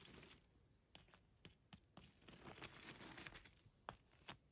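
Fingertips and long nails rummage and scratch through a pile of dry grey broken concrete and plaster rubble, shifting the loose solid chunks. Bright, gritty scraping runs underneath irregular sharp clicks and taps as pieces knock together, each dying away almost at once.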